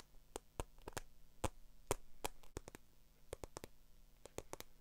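Long acrylic nails scratch and tap the surface of a small black croc-embossed patent faux leather handbag with a strap, making about 18 short, dry, bright clicks at an uneven pace. The quiet taps die away almost instantly over a faint low hum.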